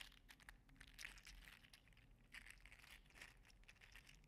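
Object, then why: 3D printed PLA articulated slug toy. A green and teal segmented 3D-printed PLA articulated slug toy is held in the fingers and bent back and forth, clicking its segments together. The result is a quiet, steady stream of dense, crinkly, bright clicks over a faint low hum.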